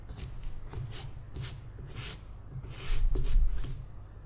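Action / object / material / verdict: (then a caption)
scrape / small carved wooden figurine scrubbed with a toothbrush / wood / none. A palm-sized, solid carved wooden sleeping-cat figurine, grey and weathered, is held in one hand and scrubbed with the plastic bristles of a green toothbrush. Short, bright, bristly scratching strokes come in an uneven, fairly quick rhythm over a steady low rumble, growing a little louder near the end.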